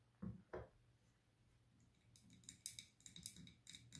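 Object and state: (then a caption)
Glass candle jar tapped with nails. Long green-tipped nails tap and scratch the sides of a large glass candle jar with a paper label, filled with wax and a lit wick, held in both hands. Two dull, low taps open the clip, followed by a quiet stretch. Then a run of bright, crisp nail clicks and scratches fills the second half.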